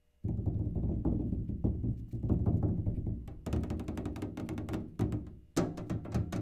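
A hollow one-gallon rectangular tin kerosene can with a plastic cap, fill level not visible, is tapped on its labeled side with fingertips and nails. The rapid, continuous tapping gives deep, boomy drum-like thumps with short ring, and from about the midpoint sharper, brighter nail clicks cut through the low resonance.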